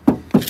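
Two taps on the steel door panel of a crash-repaired 2019 Fiesta, checked because filler was visible along the door's edge. Each tap gives a short, thin, tinny knock with a low-mid tone that dies away quickly. The panel shows no heavy filler, and the door is judged to be all right.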